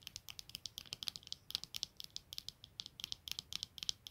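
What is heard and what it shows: Long nails scratch and tap the clear lenses and black plastic frame of eyeglasses resting on a blanket, producing about 29 quick, dry, high-pitched clicks with almost no ring. Near the end, the glasses are lifted and turned.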